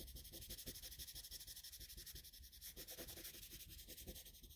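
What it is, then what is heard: Colored pencil shading on drawing paper. A colored pencil tip makes short, scratchy shading strokes across a flat sheet of drawing paper. The sound is a quiet, steady run of rapid, slightly uneven strokes, each a bright, dry scrape with a soft low rumble beneath.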